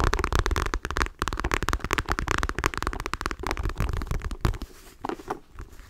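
A dark patterned faux leather clutch wallet held in both hands is scratched with long nails, making dense, rapid scratching and tapping with low, rumbling body. The sound stays busy and gritty, then thins out near the end.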